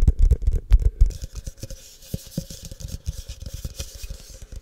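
Fingertips and short nails tap and scratch the outer walls of a tall, empty, hollow, frosted translucent plastic cup held in both hands near the mic. Dense, dull low thumps fill the first second, then lighter, quick, irregular taps continue over a faint bright scratchy hiss.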